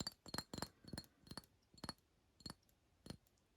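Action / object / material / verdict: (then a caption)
tap / glass perfume bottle / glass / none. A glass Paul Smith Sunshine fragrance bottle is tapped in a quick, irregular run of light clinks that spread farther apart toward the end. Each tap is a short, dry click with a faint high, bright glassy ping that dies away almost at once.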